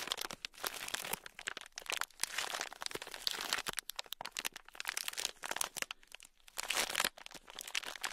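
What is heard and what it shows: A small sealed clear plastic bag, packed full with tiny gold beads, is squeezed and rubbed with fingertips. The result is dense, bright crinkling and crackling with quick crunchy bursts, almost no low end and short gaps between the handlings.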